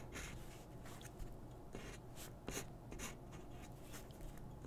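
A graphite pencil strokes and scratches across a single thin white paper drawing sheet lying flat on a wooden desk while the other hand holds the sheet still. Soft, bright scratchy strokes come in short bursts over a quiet, steady low hum.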